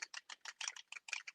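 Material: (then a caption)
Plastic. A spray bottle of mica shimmer ink is shaken side to side like a bell. The loose mixing ball inside rattles in about nine quick, bright clicks. The free-moving ball stirs the settled mica powder back up so the spray is ready to use.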